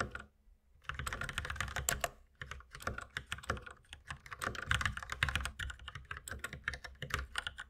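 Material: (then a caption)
Plastic. Both hands type steadily with their fingertips on a white mechanical keyboard with plastic keycaps. Rapid, short clacky keystrokes layer into a dense, bright patter with a low thock beneath. After a brief opening pause, the typing runs continuously to the end, broken only by a short gap near the two-second mark.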